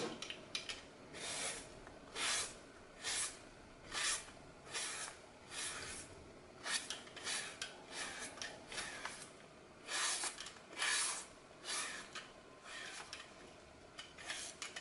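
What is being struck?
Starch-coated floral foam block.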